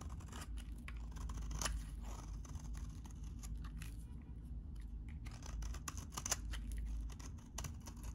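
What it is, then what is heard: Very dry soap bar being scraped. A utility knife blade shaves and scrapes a solid, hand-sized, very dry cream-colored vintage soap bar. Crisp, bright scraping and crackling strokes repeat at a quiet level over a steady low hum.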